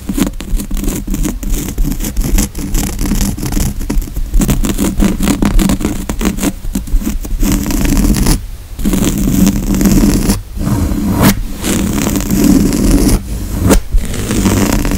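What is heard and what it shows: Fingernails scratch across the grey woven upholstery of a padded couch cushion, making a dense, continuous scratchy rustle with a low, muffled body. The scratching runs almost nonstop for fifteen seconds, broken by a few brief pauses near the end.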